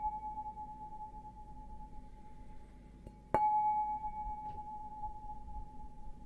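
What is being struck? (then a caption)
Stemmed glass goblet. Fingernails tap the bowl of an empty, hollow, stemmed glass beer goblet held upside down. The glass sings with a steady ringing tone near 850 Hz that hangs on throughout the clip. One sharp, bright tap midway renews it with a louder, shimmering ring over a faint low rumble.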